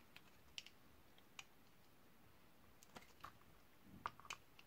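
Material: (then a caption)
Soap. A utility knife blade scrapes and shaves thin slices off a partly carved, solid purple Camay Magique bar soap held in the hand, over a pile of shavings. About eleven short, dry, crisp clicks and scratches come at irregular intervals over a quiet, hissy background, with bright high edges and a few sharper ticks near the end.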